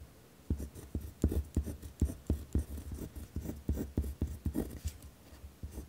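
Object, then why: Ballpoint pen on a paper notebook sheet. A ballpoint pen scratches firmly across a torn spiral notebook page resting on a wooden desk while writing. The result is a rapid series of short, dry scratchy strokes with a deep thudding low end and faint bright hiss, each stroke dying away almost instantly.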